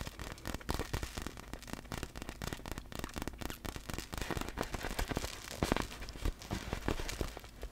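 Long black fingernails rapidly tap and scratch a large, hollow, clear vinyl inflatable ball filled with air and loose glitter while it is held up. The result is a dense, crackling patter of short, dry clicks and scrapes with a hollow low thump beneath, each tap dying away almost instantly.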